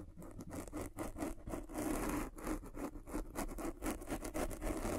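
A derma roller with metal spikes is rolled back and forth over the top of a black foam windscreen on a microphone, scratching the foam. Close, crackly scratching and rustling comes in quick, uneven strokes over a steady low rumble.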